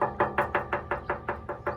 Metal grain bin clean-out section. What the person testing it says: it sounds full to almost, yeah, it's got sediment in it right here